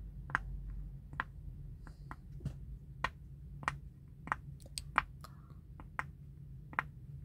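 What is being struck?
Silicone pop-it fidget toy.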